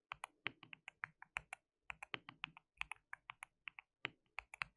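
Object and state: Plastic mechanical keyboard.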